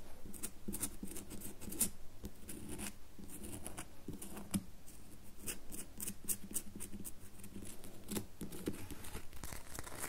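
Long nails scratch along the surface of a solid red bar of soap held in both hands. Quick, dry scratching strokes sound with bright crisp edges over a steady low background tone.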